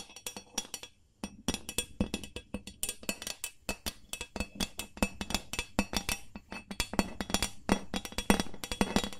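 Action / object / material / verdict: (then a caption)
tap / carbon steel loaf pan / carbon steel / none. An empty, hollow gold carbon steel loaf pan with a ribbed metal body is held in both hands while long nails tap quickly on its flat bottom. The result is a rapid, uneven run of short, bright metallic clicks with a faint hollow ring around 200 Hz, each dying away almost at once. There is a brief pause about a second in before the tapping resumes and grows slightly louder.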